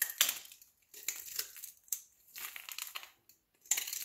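A metal utility knife blade shaves and scrapes thin flakes off the surface of a solid rectangular green soap bar held in the palm. The result is a series of crisp, bright scraping and crunching bursts with quiet gaps between them. The sound is almost entirely high-pitched, with no low end.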